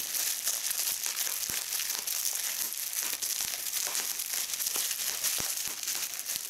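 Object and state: Plastic bubble wrap.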